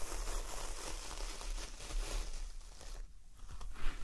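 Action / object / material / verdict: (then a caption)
scrape / coir fibre door mat / coir fibre / none. Fingernails scratch and tap across the coarse fibres of a large, solid, flat coconut coir door mat with a star print, with hands resting at its edges. The result is a steady, dry, crackling rustle like tearing or crinkling, with a brief dip in the middle and a sharper scratch near the end.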